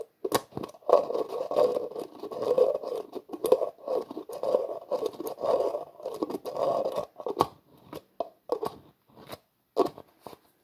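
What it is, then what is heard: Plastic jar lid being twisted and scraped. Fingertips twist and scrape the black plastic screw lid of a translucent plastic jar, making a steady run of short, dry scratchy bursts centered in the midrange with brief bright clicks. The scraping is near-continuous at first, then breaks into sparser separate scratches toward the end.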